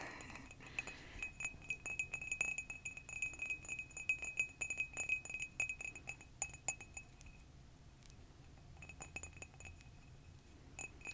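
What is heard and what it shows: A black handmade ceramic mug in a beaker style with spikes is tapped in quick, irregular bursts. The taps make light, bright clinks with a high ringing tone that dies away quickly. They are densest over the first seven seconds, then thin out to a few scattered taps near the end.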